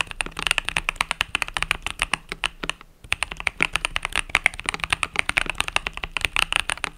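Fingertips with long nails type rapidly on a compact mechanical keyboard with cream and purple plastic keycaps, resting on a desk mat. A dense stream of sharp, bright, dry clacks with almost no low end or ring pauses briefly near the three-second mark, then resumes just as quickly.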